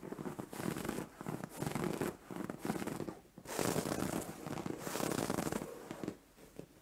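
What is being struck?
Soft fabric bed cover.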